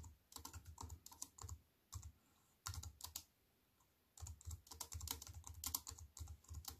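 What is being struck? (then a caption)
Compact keyboard with plastic keys. Fingertips with white-painted nails type rapidly on a slim wireless keyboard with black plastic keys in a grey metal-look frame, lying on a wooden table. Quick bursts of crisp, bright clicks with a soft low thump under each stroke are broken by two short pauses. The keystrokes are dry and die away almost instantly.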